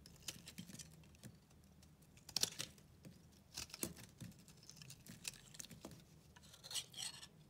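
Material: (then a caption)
Soap. A utility knife blade scrapes and shaves the edges of a solid white bar of soap held in the hand. A quiet series of short, dry, crunchy scrapes and crackles, bright and high in tone with very little low end, with a few sharper, louder cuts near 2.4, 3.8 and 6.8 seconds.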